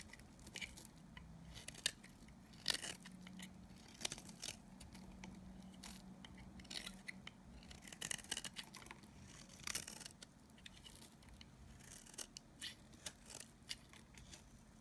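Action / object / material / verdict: scrape / bar of soap shaved with a knife blade / soap / none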